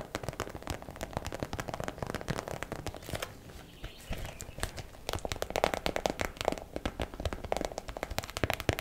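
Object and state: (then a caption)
Plastic bag of hair rollers. A small clear plastic zip bag packed with purple and blue foam and velcro hair rollers is tapped and scratched with long black acrylic nails. Rapid, crackly plastic taps and crinkling scratches run throughout, with a brief softer, quieter stretch around the middle before the tapping picks up again more strongly.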